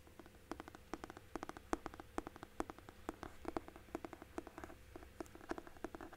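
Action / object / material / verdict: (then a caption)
tap / hardcover book with cloth-and-paper cover / cloth, paper / none. A large hardcover book with a red cloth-and-paper cover and a solid paper block is held upright in both hands while fingertips and nails tap and scratch along the cover and spine edge. Dozens of quick, dry, hollow taps with a low-mid body around 324 Hz come in uneven bursts, with faint scratchy rustling between them. Each tap dies away almost instantly, leaving a soft, close, patter-like texture.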